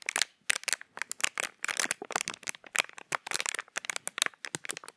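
Fingertips crinkle and press a small, empty, hollow piece of clear plastic packaging held in front of the microphone. The result is a rapid series of short, dry, bright crackles and crinkles with no low end, arriving in irregular bursts separated by brief silences.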